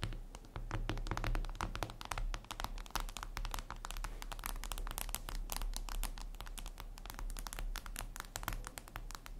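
Long red acrylic nails tap and click across a flat, solid, reflective glass mirror tabletop surface. The result is a dense, continuous stream of short, dry, bright clicks with almost no ring, over a steady low hum around 100 Hz.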